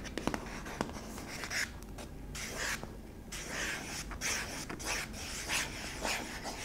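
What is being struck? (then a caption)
Small hollow plastic jar. Long pink-tipped nails scratch the flat bottom of a small, hollow yellow and white plastic jar lying on its side. Quiet, bright rasping strokes come in bursts, with a few sharp clicks near the start. The scraping stays soft and close throughout.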